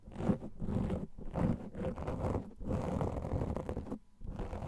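A black foam microphone windscreen, made of soft porous foam, is scratched quickly with the fingernails of both hands. The result is a dense, low, muffled scratching and rustling that comes in bursts with brief pauses, including a near-silent gap toward the end.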